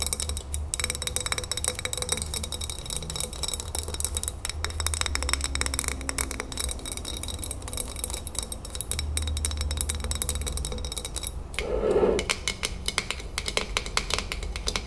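Long fingernails tap rapidly on the glass sides and metal lid of a full glass salsa jar, making a dense stream of bright, clicky taps over a steady low hum. Near the end, one stronger tap brings out a short, ringing mid-pitched tone before the quick tapping continues.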